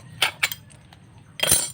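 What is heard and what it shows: A seashell sold as a fossil amulet is tapped lightly, giving a few bright, short clinks followed by a louder scraping crackle as its layer comes off. It proves to be an ordinary shell that never turned to stone, so it is not a real fossil.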